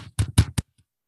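Three quick taps on a computer casing, heard as short, dull knocks with a low body and almost no ring. The knocks sound out the hard surface of the computer.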